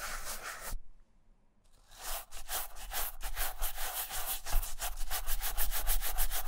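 A vintage Camper black leather sneaker with a rubber sole is held in one hand while its upper is brushed with a wooden-backed, dark-bristle shoe brush. Quick back-and-forth strokes make a bright, scratchy bristle hiss, with a brief pause after the first second. The brushing then resumes in a steady, faster rhythm.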